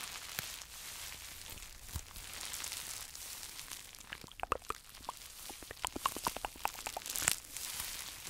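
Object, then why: Plastic bubble wrap pouch. A small, flexible pink plastic bubble wrap pouch, hollow and empty, is held in both hands and squeezed and crinkled with fingertips and short nails close to the microphone. A steady bright, hissy crinkling runs throughout, broken by many sharp, dry clicks and crackling pops that grow denser in the second half.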